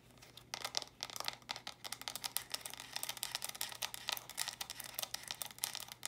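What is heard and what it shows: Long nails tap and scratch fast on the flat sides of small, hollow plastic stacking brick storage boxes, held stacked in both hands. The result is a quick, dense run of crisp, bright clicks and scrapes over a faint steady low hum, with each hit stopping almost instantly.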